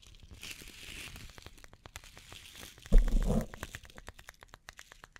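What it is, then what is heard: Wooden bath brush with natural bristles. Long painted nails scratch over the natural bristles and solid wooden back of an oval, hand-sized wooden bath body brush with a white strap, held in the hands. A soft crinkly rustle is dotted with many short, dry ticks and crackles, with a louder, denser scratching burst near the three-second mark before it settles back into sparse clicks.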